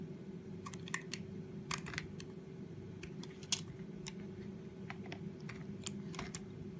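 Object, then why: Bar of soap cut with a knife blade. A utility knife blade carves the corners off a solid white painted, decorated soap bar, making a series of short, crisp, bright clicking cuts. The cuts sound over a steady low hum, with one sharper snap standing out near the middle.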